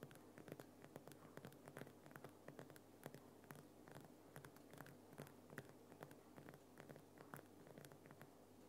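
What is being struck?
Rock salt lamp.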